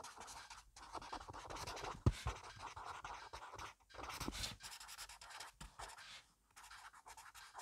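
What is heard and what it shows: A black felt-tip pen scratches fast, messy scribbled handwriting across the grid page of an open spiral-free paper notebook, a solid stack of paper resting on a wooden desk. Dense, rapid scratching strokes run continuously with brief pauses, with a louder tap near the two-second mark.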